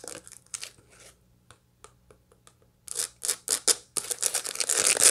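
A dried sunflower head with its seeds still packed in is scratched and tapped with long light-blue nails across the seed face. Dry, bright scratching and crackling come in short bursts, with sparse faint ticks in a quieter middle stretch. The bursts then return louder and denser toward the end.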